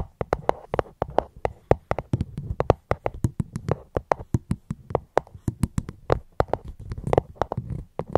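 Fingers tap rapidly on a fruit box held close to the microphone, producing a steady stream of short, dry knocks. Each tap has a hollow, low thump with a crisp, bright click on top, dying away almost instantly.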